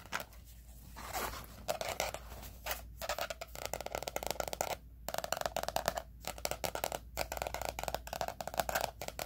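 Fingernails tap and scratch the laminated cardboard cover of a teal 2020 spiral-bound planner lying flat. Quick, dry clicks and bright scratchy strokes come in dense bursts with a midrange tone around 680 Hz, broken by a few short pauses. A faint steady low hum sits underneath throughout.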